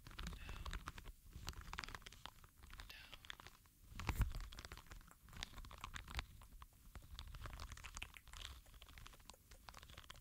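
A small, palm-sized green rubber ball covered in soft spikes is rolled and rubbed between both palms and fingers. It makes a quiet, continuous rustling of soft crunches and scratchy clicks over a low rumbling handling noise, with a slightly louder squeeze near the middle.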